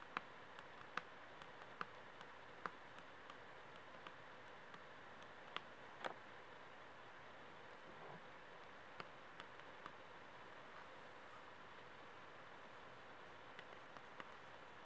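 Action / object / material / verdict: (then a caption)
tap / book spine with laminated cover / laminated cardboard / none. Fingernails tap and scratch along the smooth, laminated glossy spine of a thick book stood on end. Sharp, short clicks land at uneven intervals over a soft, steady scratching hiss. The sound is quiet and dry, with almost no ring after each tap.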